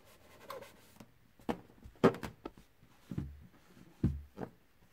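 A large inflated light-blue latex balloon with white polka dots rests on carpet while one hand steadies it and the other brushes and rubs its surface with a soft white-handled makeup brush. Soft, brief swishing and rubbing strokes come in uneven bursts, with faint low thuds and airy high hiss in a quiet small space.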